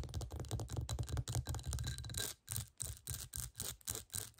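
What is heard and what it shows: Long nails scratch fast over the bumpy surface of a clear, hollow textured glass bowl turned upside down. The result is a dense, rasping scratching with a heavy low rumble and a bright hiss, running almost continuously at first and then breaking into short, quick bursts with brief silent gaps.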